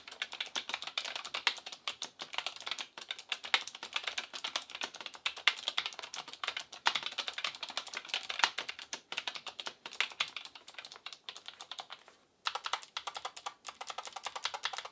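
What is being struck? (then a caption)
Mechanical keyboard with plastic keycaps. An Asus ROG Claymore II gaming keyboard with plastic keycaps and clicky RX Blue mechanical switches is typed on rapidly with the fingertips, making a dense stream of sharp, bright clicks with almost no low end and no ring. After a brief pause near the twelve-second mark, a single finger presses individual keys in a slower, steadier run of crisp clicks.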